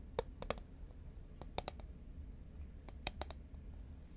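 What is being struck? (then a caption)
Paperboard chip can. Fingernails tap rapidly on the side of a tall cylindrical composite paperboard Pringles chip can held horizontally in both hands. Sharp, dry clicks with very short decay come in quick, irregular bursts, with a mid-pitched hollow tone under bright tips over a low, steady background hum.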